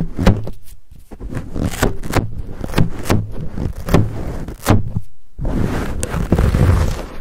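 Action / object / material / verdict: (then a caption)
scrape / foam microphone windscreen / foam / none. Fingertips scratch and rub the fuzzy black foam windscreen on a Blue Yeti microphone, right up close. The result is a deep, muffled rumble of scraping with repeated crackly strokes and soft thumps. A brief quiet gap comes before the rubbing resumes.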